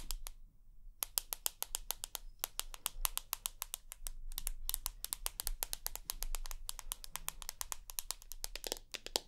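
Long nails tap rapidly and scratch across the white glass screen of a rose gold iPhone with an aluminium body, held vertically. The taps are sharp, bright clicks that die away instantly, coming in quick runs with a few brief pauses over a low steady hum.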